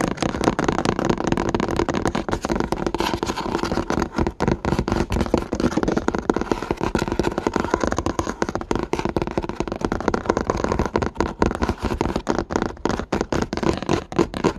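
Fingertips and nails tap quickly on the flat brown chipboard back cover of a spiral notebook lying on a table. The result is a dense, continuous patter of short, dull cardboard taps with a warm low-mid body, very little bright top end and almost no ring after each tap.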